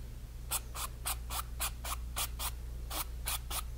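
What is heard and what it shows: A flat brush is scrubbed back and forth across a painted, stretched cotton canvas panel, spreading a red stroke. Each pass makes a short, bright, dry scratchy rub in a quick, uneven rhythm, over a steady low hum.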